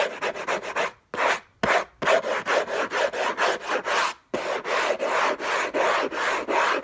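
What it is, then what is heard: Cardboard box scratched with nails. Fingernails on clawed fingers scratch the lid of a hollow, rigid cardboard gift box covered in orange textured paper. About 17 quick, dry, rasping strokes come in uneven bursts with a few short pauses. Each scrape is a papery hiss centered in the midrange with a bright top, and there is no low boom from the hollow box.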